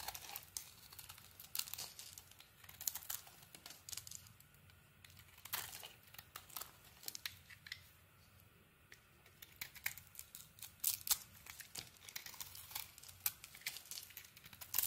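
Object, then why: Bar of soap shaved with a blade. A handheld solid purple and cream soap bar is shaved with a utility knife blade, and the shavings curl off. Quiet, bright, crisp scraping and crinkling strokes repeat in quick, irregular bursts throughout, each stroke dying away almost at once.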